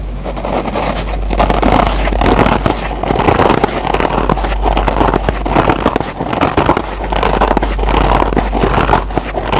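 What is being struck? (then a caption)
Kitchen scrub sponge with nylon scour pad on foam. Fingertips and short nails scratch the green nylon scour pad of a single Scotch-Brite kitchen scrub sponge with a yellow foam layer, held in close-up. A dense, continuous rasping and crackling scrape holds a steady level throughout, with a low hum underneath.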